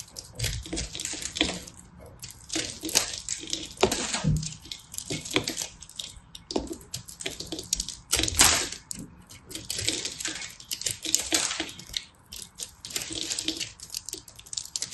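A solid pressed soap ball with teal, orange and white flakes, held in a hand with red nails, is carved and scraped with a small knife blade. The result is a dense stream of crisp, bright scraping and crunching, with short flaky crackles and occasional louder cuts that die away almost at once.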